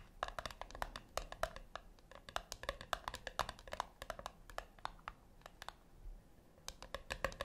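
Long nails tap and scratch the top lid of a flat, round brushed-metal tin, likely hollow. A quick, irregular run of short, bright clicks with a faint metallic ring sounds over a low background hiss.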